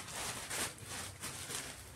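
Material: Nothing is struck.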